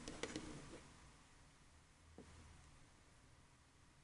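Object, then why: Plastic game controller. A black, hand-sized, hollow plastic Xbox 360 controller lying on a table is tapped with painted fingernails on its body and around the thumbsticks, with possible button clicks. A quick cluster of soft, hollow clicky taps opens the clip, followed by long quiet stretches broken by a couple of faint, isolated taps.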